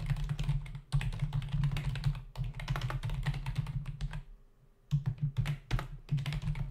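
A black plastic membrane desktop keyboard with hollow key caps is typed on rapidly with the fingertips of both hands. The result is dense runs of short, dry clicks and taps over a steady low hum, broken by a brief pause in the middle before the typing picks up again.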